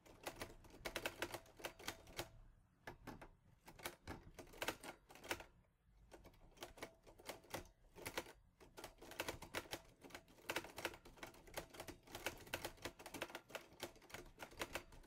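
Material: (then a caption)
Metal. Fingertips press the keys of a teal metal Olivetti Lettera 22 portable typewriter in quick bursts of typing. Each keystroke gives a sharp, bright metallic clack that dies away almost at once, with brief pauses between runs.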